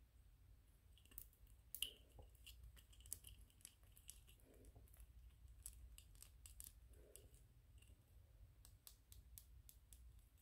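Fingernails scratch and tap on a small white PLA plastic 3D-printed ghost toy. Quiet, sharp, bright ticks and clicks are scattered through the clip, with a few soft scratchy rubs in between. A steady low rumble sits underneath throughout.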